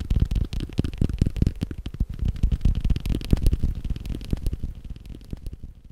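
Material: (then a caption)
Leather. A leather belt is tapped rapidly with fast, uneven patting. It makes a dense run of short, dull, low thuds that die away almost instantly. The tapping grows softer toward the end.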